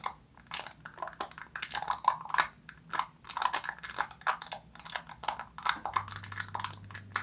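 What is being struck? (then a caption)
Foil seal over a plastic jar. Long nails tap and scratch the silver foil seal stretched over the mouth of an opened black plastic jar. Rapid, crisp, crinkly clicks and scratches come in irregular bursts, bright and papery with a faint metallic ring around 1 kHz. A low steady hum joins in near the end.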